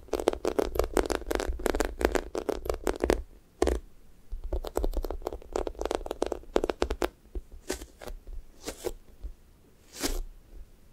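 Fingernails scratch the pink sticky top of a thick strawberry toast squishy toy made of soft, solid foam, and fingers press into it. Dense runs of quick, crackly scratching and sticky tearing sounds come in bursts, pause briefly, then return. They thin out into a few slower, isolated scrapes toward the end.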